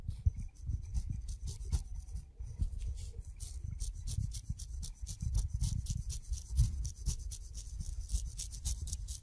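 A steel razor blade scrapes the hairy brown skin of a whole kiwi fruit held between the fingertips, gathering fuzz on the blade. Rapid, closely repeated short scraping strokes are heard, with a soft low rumble underneath and bright, raspy hiss on each pass.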